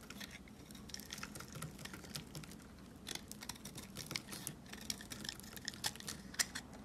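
A rectangular, solid white soap bar held in the hand is shaved along its edge with a box cutter blade, coming away in crunchy flakes. Quick, bright, crackly scrapes and ticks patter rapidly over a steady low hum, with a few sharper crunches standing out toward the end.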